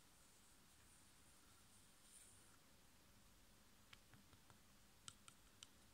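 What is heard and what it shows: A flat, sealed, printed foil-laminated plastic sachet holding a sheet mask, about hand size, is held in both hands and tapped rapidly with long painted nails and fingertips. After a quiet stretch with a soft crinkly rustle, short, dry, bright clicking taps come in an irregular scatter, each dying away almost instantly over a low, steady background hush.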